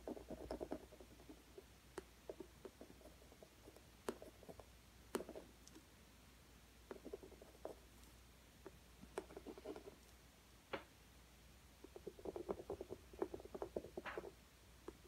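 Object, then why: Wooden coloured pencil on acrylic-textured stretched canvas. A green wooden coloured pencil is scratched in short strokes across the rough surface of an acrylic-textured stretched canvas lying flat, shading it. Quiet, dry scratching bursts with a low-mid body come in clusters, dotted with sharp, bright ticks as the lead catches the texture, over a faint steady hum.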